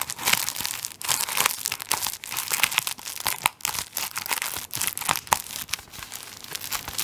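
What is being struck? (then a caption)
Tissue paper roll in thin plastic film. A tissue paper roll wrapped in thin plastic film is held close to the microphone while fingertips scratch and rub the plastic on its end face. The result is a dense, bright crinkling and scratching with almost no low end, coming in rapid bursts separated by brief near-silent gaps.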